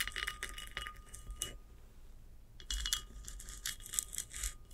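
Long acrylic nails scratch the rough, sandy lower band of a large hollow ceramic vase standing upright. Bright, gritty scratching strokes come in quick bursts, stop for about a second in the middle, then start again, with a faint steady tone underneath.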